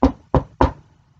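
Three knocks on a wooden desk, a "knock on wood" gesture, each a short dull thud with a deep low-end body and little high content, and the desk shakes the laptop on it. The knocks come in quick succession, the first two close together and the third following shortly, each decaying quickly into a faint low rumble.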